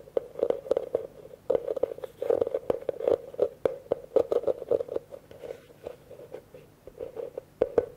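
Fingertips tap quickly on the rim and outer wall of a hollow, empty blue plastic bucket, viewed from its open side. The rapid, uneven taps are short and dry, each with a hollow mid-range knock that dies away almost at once.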